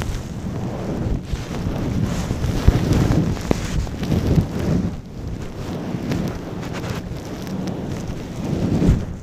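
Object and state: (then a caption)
Faux fur microphone cover being rubbed. A long-pile brown faux fur windscreen over a microphone is rubbed and scratched slowly with fingertips and long nails. It makes a soft, muffled, continuous rumble concentrated in the low end, with occasional brief crackles and almost no bright content.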